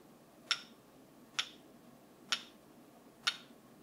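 A wooden brush is tapped four times at a slow, steady pace, each tap a short, bright click with almost no ring. Quiet background hiss fills the gaps between taps.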